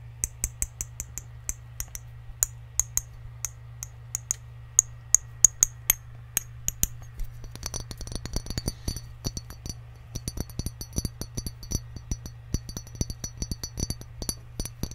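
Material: Glass.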